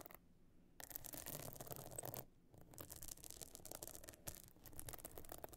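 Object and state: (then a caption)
Pebble-encrusted clutch bag scratched with nails. Long nails on both hands scratch across the stone-chip encrusted top of a closed, pebble-encrusted metal-frame clutch bag lying flat. Dense, bright, gritty scratching comes in bursts, with short quiet gaps near the start and in the middle.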